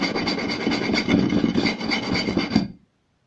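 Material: Wood.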